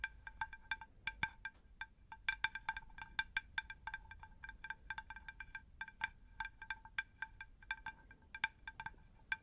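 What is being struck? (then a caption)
Terracotta ceramic saucer. A round, shallow, plate-sized terracotta pot saucer is tapped with long nails in a rapid, uneven run of dozens of light taps. Each tap gives a short, bright, chime-like ring with clear tones around 1.6 kHz that fades almost at once, over a faint low background rumble.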